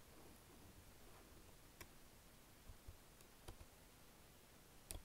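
A black plastic Logitech wireless keyboard is lightly typed on with fingertips and nails, pressing keys such as Enter and the arrows. Sparse, short, dry clicks stand out from a quiet, low background hum, with a few sharper taps near the start, the middle and the very end.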